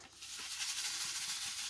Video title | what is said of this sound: Action superbe matrice 3 fenêtres + blocs papiers et dies cut Action 🥰🥰🥰 Hello Beautiful !!! | quand on secoue ça fait le bruit espéré